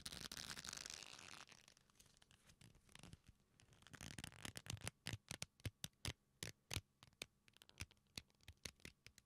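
A leather belt strap, held taut and bent between the hands with its metal buckle hanging at the end, is rubbed with the fingertips. A broad, bright scratching rub fills the first second and a half, then fades to softer rustling. Over the last five seconds comes a run of sharp, dry clicks and taps.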